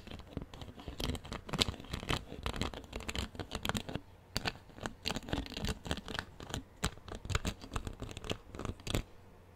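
A clear plastic drinking-water bottle, partly full of water and hollow, is held in one hand close to the microphone and handled with the fingers. A dense, irregular run of sharp, crisp clicks and crackles, likely from squeezing, crinkling or scratching the plastic, pops out over a low rumbling bed, with brief quieter gaps between bursts.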